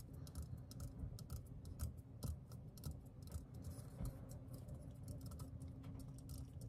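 Fingertips and nails tap the side and then the bottom of a hand-sized, hollow, green metal aerosol deodorant can. A quiet, steady run of quick, light taps and ticks with crisp bright edges and almost no ring sits over a constant low hum.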